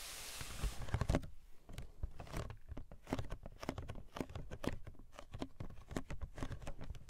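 Long painted nails tap and scratch the side of a medium-size, hollow pink printed cardboard toy box with a plastic window that holds a toy tea set. A rapid run of short, dry, hollow taps is heard, with soft scratching between them and a brief hissy brush at the start. The sound is quiet and mostly low, with a light bright click on each tap.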